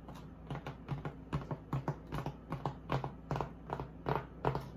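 Long acrylic nails tap and scratch the textured surface of a flat, solid white polystyrene foam packaging insert. The result is a quick, uneven run of short, dry taps, each with a soft, low thud and a brief scratchy brush, over a steady low hum.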